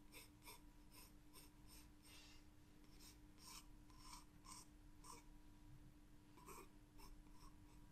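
A green wooden graphite pencil draws light outline strokes on a blank spiral sketchbook page. The strokes come as short, soft, scratchy rasps. They sit over a quiet, steady low hum and a faint tone.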